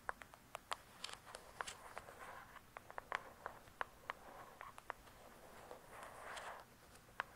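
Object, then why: Hardcover book with glossy cardboard cover. Long acrylic nails tap and scratch on the glossy paper-covered cardboard cover of a thick hardcover book lying flat and solid. Sharp, dry taps with a mid-range knock and almost no ring are scattered among softer, breathy scratching passes that swell and fade. The sound is quiet and close.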